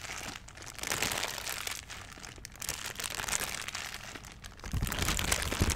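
An empty, thin, transparent plastic bag is stretched out and crumpled and crinkled by hand. It makes a dense, continuous crackle of bright, papery crinkles that swells and fades in waves. Toward the end, a heavier burst of handling adds low, muffled rustling underneath.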